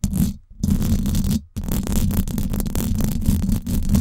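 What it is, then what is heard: Metal mesh microphone grille being scratched. Long acrylic nails scratch the hollow silver woven-wire dome grille of a Blue Yeti microphone, making dense, rumbling scrapes that are mostly deep low-end with a pitch near 78 Hz. The scratching runs in three bursts separated by two brief silences, around half a second and one and a half seconds in, with little bright content.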